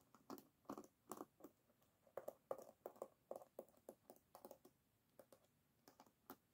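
Long nails tap and scratch along the wooden pins of an oval bamboo paddle hairbrush, its pins set in a rubber cushion, as it lies flat on a table. Quiet, irregular bursts of dry, woody clicks with a hollow mid tone come quickly one after another, each dying away almost at once, with faint bright scratchy edges between them.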